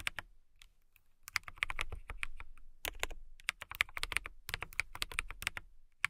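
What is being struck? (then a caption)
Acrylic mechanical keyboard with plastic keycaps. A compact transparent acrylic mechanical keyboard, with clear plastic keycaps and a clear case, is typed on with long nails and fingertips. Bursts of sharp, bright clacks centred near 2.2 kHz, each backed by a soft low thud, come in quick runs with brief pauses between them. Every keystroke stops dead with no ring.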